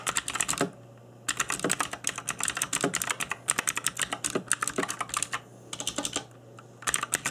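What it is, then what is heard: Plastic mechanical keyboard typing. Fingertips in black nitrile gloves type on an RGB-backlit mechanical keyboard with plastic keycaps. Rapid bright clacking key taps come in bursts, with brief pauses between runs and a faint low hum underneath.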